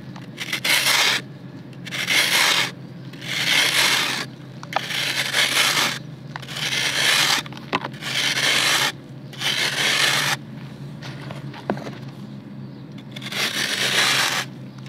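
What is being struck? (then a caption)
Slab of dried red clay soil scraped with a serrated metal knife. A flat slab of dry, solid red clay dirt is held in the hand over a basin of red dirt while the serrated edge of a metal knife scrapes and rubs along it. Bright, gritty scraping bursts come in repeated strokes separated by quieter pauses, with a few sharp ticks. Powder crumbles off the slab.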